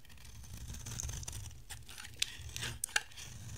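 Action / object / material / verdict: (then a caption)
scrape / bar of soap cut with a blade / soap / none. A box-cutter blade shaves thin strands from a dry, oval, solid yellow bar of soap. Soft, crisp scraping and crinkling strokes repeat unevenly over a low background rumble, punctuated by a few sharp, bright ticks as the blade catches.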